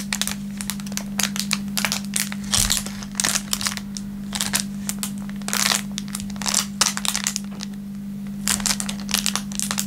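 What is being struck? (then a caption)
Thin plastic film wrapper. An empty, thin, clear plastic film packaging bag is stretched and crinkled between the fingertips of both hands. It makes dense, bright crackling bursts that come and go over a steady low hum.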